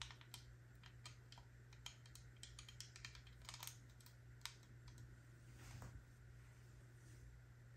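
Black plastic heart-shaped sunglasses, with frame and lenses, are held in both hands and tapped on the frame with long nails. The result is a quiet, irregular run of sharp, dry, bright clicks that die out almost instantly, over a steady low hum.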